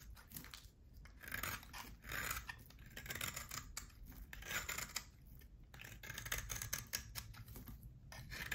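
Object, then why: Hard bar of soap. A utility knife blade shaves thin curls from a solid oval bar of hard soap that has a black coating and a pale core. Repeated crisp, bright scraping strokes rise and fall in a steady rhythm over a faint low hum.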